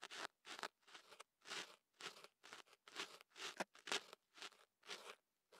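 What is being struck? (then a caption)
Kenaf paper tube rubbed with a thin pick. A thin ear pick scratches and rubs at the opening of a kenaf paper tube wrapped around a microphone. It makes a series of short, crunchy, crackling paper bursts with quiet gaps between them. The sound is bright and dry, with almost no low end.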